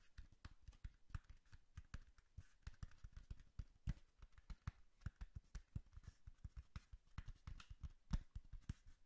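A tall, hollow brown cardboard box is held in hand while fingertips and nails tap on it. The result is a quick, irregular stream of soft, dull, low thuds that stop almost at once, with faint clicks from the nails.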